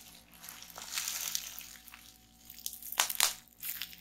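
A roll of clear plastic bubble wrap resting on a table is twisted by hands, pressed with long nails and squeezed by fingers to pop and crinkle the bubbles. Soft, bright crinkling and crackling rustles build and fade, then two louder, sharp pops stand out near the end before the crinkling resumes.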